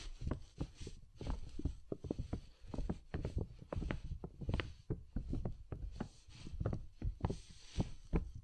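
Two soft makeup brushes, one in each hand, brush and sweep across the outside of a large transparent PVC dome umbrella, a thin hollow plastic canopy set over a binaural microphone. The result is a quick, uneven run of soft, muffled swishes and dull low thumps, with very little high sound and no ringing after each stroke.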